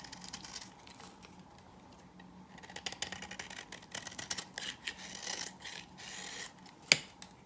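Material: Soap.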